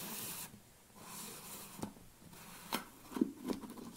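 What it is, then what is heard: Plastic supplement tub. Fingernails scratch and tap the lid and sides of a large black plastic protein tub. A bright, hissy scratch opens the clip, then softer rubbing follows, broken by four short, dry plastic taps near the end.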